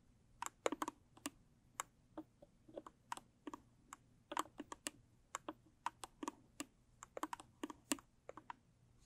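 Long stiletto nails tap the sides and top of a closed, hollow, medium-size square blue textured cardboard gift box. Around 27 short, dry clicks come in quick, irregular bursts. Each tap cuts off almost instantly against a quiet, steady background.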